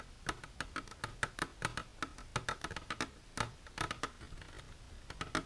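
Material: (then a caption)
Plastic. Long silver nails tap and scratch the sides of an empty, transparent hard plastic container standing upright. The result is a rapid, irregular run of sharp, dry clicks with a hollow tone around 1.5 kHz and bright edges, each dying away almost instantly, over a faint scraping hiss.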